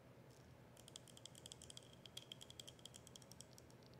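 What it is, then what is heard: Plastic soda bottle, partly filled. Long acrylic nails tap rapidly on a plastic soda bottle with a printed label and a cap, partly filled with liquid, hitting both the label and the plastic. The result is quiet, quick, irregular clicks with a bright tone around 3.2 kHz. Each tap dies away almost instantly over a soft background hiss.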